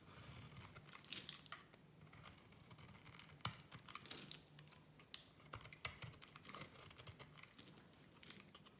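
A solid orange striped soap bar is shaved with a small metal blade into crumbly flakes. Bright, dry scraping and crumbling clicks come in a rapid, irregular patter over a low steady hum, with sharp cuts standing out now and then.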